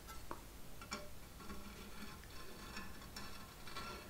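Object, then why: Painted sheet-metal decoration with hollow heads. Long manicured nails tap and scratch on the green-and-pink head of a large Halloween Venus flytrap decoration made of painted sheet metal, with hollow pod-shaped heads and thin stems. Quiet, irregular light ticking taps with a thin metallic ring sit over faint scratching.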